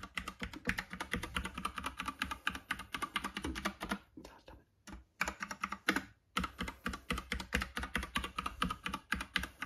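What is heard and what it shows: Fingertips type rapidly on the keycaps of a plastic Epomaker "bloodshot" classic mechanical keyboard resting on a red box. The result is a dense stream of sharp, bright clacks with short pauses around the four-to-five-second mark and again near six seconds before the fast typing resumes.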